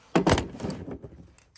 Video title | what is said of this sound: Easy diy carburetor clean | So carburetor's put together now. You can hear the float working when you shake it.